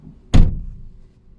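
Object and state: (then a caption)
Hollow-sounding car door. The rear door of a Peugeot 208, sheet metal with plastic trim, is pulled shut from inside the back seat. It closes with a single low thud that has a brief bright edge, then a short dull tail. The slam sounds hollow.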